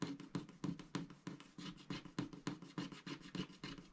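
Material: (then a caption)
Coated paper. A thin pointed wooden stylus scratches the black coating of a flat scratch-art paper sheet with giraffe and rhino animal stickers, lying on a grey board while the other hand holds it steady, with an unused paintbrush beside it. Quick, slightly uneven scratching strokes repeat about three times a second, each a short, dry rasp with a low body and a bright papery hiss that stops almost at once.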